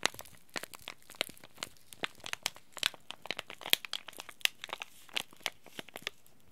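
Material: Plastic foil.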